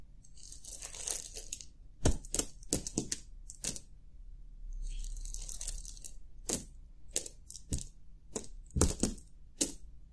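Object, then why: Pile of brass-cased .22 LR cartridges. A bare hand scoops handfuls of small brass-cased .22 LR cartridges with dark lead bullets from a pile on a grey fabric cloth. It rubs them together in the fingers, giving a soft shuffling rattle, then lets them drop back onto the pile. Sharp, bright metallic clinks ring out as they strike each other.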